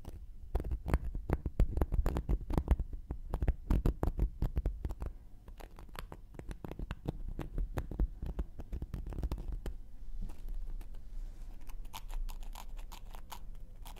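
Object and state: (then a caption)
Cork coaster being scratched. A round, flat, solid cork coaster held in one hand has its edge and surface scratched with a thin wooden knitting needle. Dense, irregular, dry scratching clicks come close together, with a dull, low-heavy body and no ring. Toward the end the strokes soften into a steadier, quieter rub.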